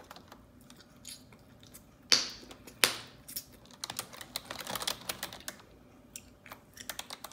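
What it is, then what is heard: Plastic computer keyboard. Long neon-yellow acrylic nails type on a black plastic desktop computer keyboard with hollow keys, making bright, crisp tapping and clicking. Two sharp, louder clacks stand out early on, then a quick, uneven flurry of light key taps follows until the end.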